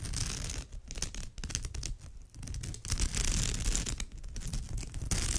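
Long nails on both hands scratch across the surface of a woven straw bag. The result is a dense, rapid, irregular rasping and crackling with bright, hissy texture over a low rumble, swelling and dipping in short bursts.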